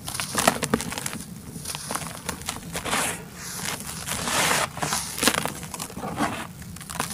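Bare fingertips and palms crush and rub packed clumps of dry red soil in a large white plastic tub, and loose powdery dirt pours from the hands. Dry, gritty crunches and crackles come in quick bursts, with brighter hissing swells as the crumbled dirt sifts and pours.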